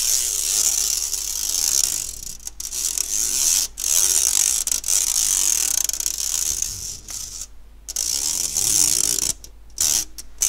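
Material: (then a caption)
Stainless steel. A fingernail scratches across the fine mesh of an empty, round stainless steel sieve held upright by its handle. It makes a bright, ratcheting rasp that runs almost continuously, with a few brief pauses between strokes.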